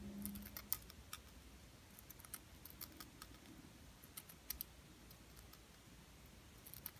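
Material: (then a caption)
Plastic. A small, flat, solid pink glitter-coated plastic "Diva" word ornament is held in the hand and tapped and scratched with long painted nails. Quiet, irregular, sharp bright clicks and light scratchy ticks sound over a soft low rumble, each tap dying away almost instantly.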